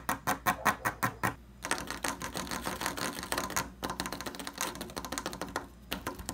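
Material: Wood.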